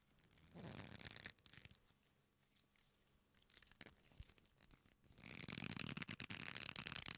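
A black leather belt with punched holes, a flat solid strap, is bent and rubbed with both hands, giving a dry, bright creaking. A short rough burst of rubbing comes early, followed by quieter scattered scratches and creaks, then a louder, sustained stretch of harsh creaking rubbing to the end.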